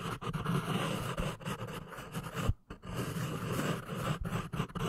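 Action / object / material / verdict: scrape / pencil on paper notepad / paper / none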